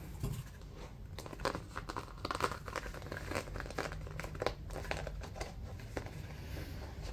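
Fingertips scratch along the ridges of a light, white, accordion-pleated paper bundle folded into a stack about a hand's width, crinkling it. The result is a steady stream of dry, papery crinkles and short scratchy rustles over a soft low rumble, with brief brighter crackles standing out here and there.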